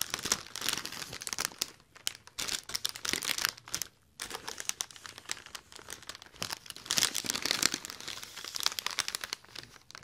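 Fingertips scratch and crinkle a large, hollow, inflated silver mylar foil letter balloon close to the mic, producing dense, bright crackling and rustling with many quick, sharp crinkles. A brief near-silent gap falls around the four-second mark before the crinkling resumes with steady intensity.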